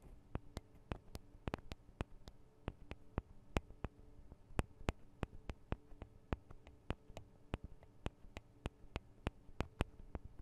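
Long acrylic nails tap on the two small cylindrical metal microphone capsules of a Tascam DR-40 recorder, producing about thirty sharp, quick-decaying clicks at an irregular, unhurried pace. Each tap is a bright, dry tick over a quiet, steady low hum.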